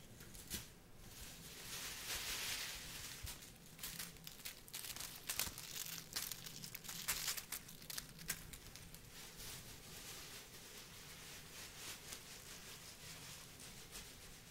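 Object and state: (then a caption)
Plastic bag of dried rose petals being crumpled. A clear plastic bag of dried rose petals is held up, crumpled and shaken by hand. It gives a quiet, continuous bright crinkling with dense sharp crackles, swelling early and peaking through the middle before settling into softer rustling.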